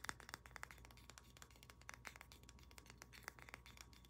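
Long nails tap and scratch the head and body of a solid carved wooden pig figurine with a polished, golden-looking finish. Many quick, dry, bright clicks come in a rapid, uneven stream, with short scratchy strokes over a low steady hum.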